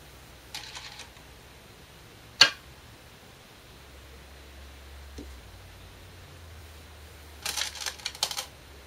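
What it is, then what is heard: Glass go stones placed on a shinkaya wood go board. Korean glass go stones (size 36, 10.2 mm) are placed normally, not slammed, on a 2-inch shinkaya wood floor go board while replaying a professional game. Short, bright clicks ring briefly, with one sharper, louder click near the middle and a few softer, clustered clicks at the start and end, over a faint low hum.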